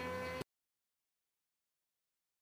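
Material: Nothing is struck.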